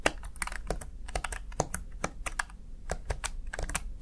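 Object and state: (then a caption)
Plastic gaming keypad. Fingertips tap and press the keys of a Razer Tartarus Chroma, a small black plastic backlit gaming keypad. The result is a quick, uneven run of short, dry plastic clicks with a bright edge and almost no ring.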